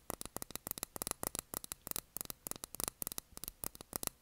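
Long nails tap a small glass candle jar filled with blue wax, its cork lid on, in a quick, uneven run of about two dozen short taps. Each tap is a dry, bright click that dies away almost at once.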